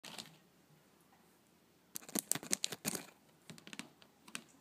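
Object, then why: Woven rattan tray tapped and scratched with fingernails. Long blue-painted nails tap and scratch across the weave of a flat woven wicker (rattan) tray, a solid woven mat. A brief scratch opens the clip, followed by a quiet pause. Then comes an irregular flurry of sharp, bright, dry clicks and scratchy rasps, which thins into a few softer taps.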